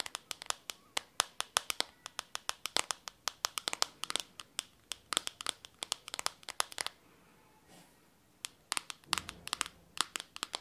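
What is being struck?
Smartphone with glass back.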